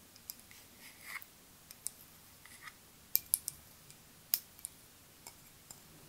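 Long nails tap a partly filled clear glass perfume bottle with a white rounded cap. Quiet, irregular, bright clicks ring out with almost no sustain, a few landing sharper and louder than the rest.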